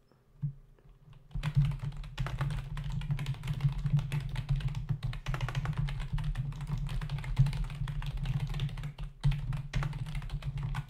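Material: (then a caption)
Plastic. A black plastic membrane desktop keyboard with hollow key caps is typed on rapidly with the fingertips of both hands. After a quiet start with a single tap, a dense, continuous stream of short, dull key taps begins, carrying a low, thumping body. It pauses briefly near the end before the typing resumes.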